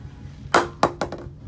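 An SF Almandus 10000 English willow cricket bat, the second of two, is tapped four times in quick succession for a sound comparison with the first. Each tap gives a short, bright knock with a brief tonal ring around 350 Hz that dies away quickly, over a low background hum.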